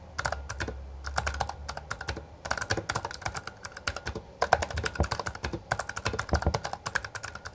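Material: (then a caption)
Plastic. Both hands type continuously with their fingertips on a Bloody B820R full-size black plastic mechanical gaming keyboard with backlit keycaps and a hollow housing. The strikes produce rapid, clacky keystrokes with a hollow low thump beneath them, each decaying almost instantly. Brief pauses near 2.3 and 4.3 seconds separate the bursts of typing.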